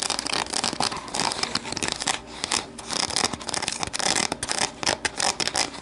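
Long matte navy nails tap and scratch the sides of an empty, hollow, medium-size translucent plastic deli container standing upright on a wooden table. Rapid, crisp plastic clicks blend with bright, dry scratching rasps, with almost no low end and very short decay.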